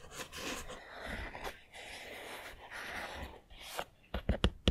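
Fingernails rub and scratch across a small, hollow, castle-style Harry Potter 3D puzzle building made of foam-backed printed pieces, lying on a table, making a soft, dry rasping sound. Five sharp, hollow clicks follow as the nails tap on its roof and walls.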